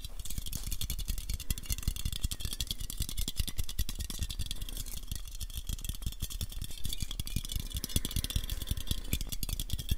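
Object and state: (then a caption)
Aluminium aerosol can. Fingertips and nails tap rapidly along the body of a black patterned, hand-sized aluminium aerosol spray can, which is hollow and of unknown fullness. A dense, steady stream of short, dry clicks carries a low hollow thump beneath bright, crisp nail ticks. Each tap dies away almost instantly.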